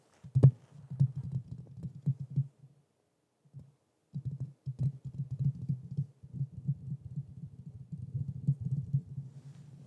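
Fingertips tap and scratch the metal mesh grille of a black Blue Yeti microphone, at times with one hand. Dense, soft, low thumps sit around 130 Hz with almost nothing bright above. The taps run in a quick flurry, stop for about a second and a half with one stray tap, then resume steadily to the end.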